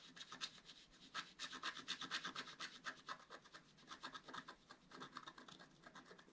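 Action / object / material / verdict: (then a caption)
scrape / wax-coated scratch-art paper card / wax-coated paper / none. A wooden stylus scratches the wax coating on the upper motif of a flat scratch-art paper card lying on a table, while the other hand steadies the card. Quiet, dry, bright scratching strokes repeat at an uneven pace of roughly two per second, each one short with almost no low end.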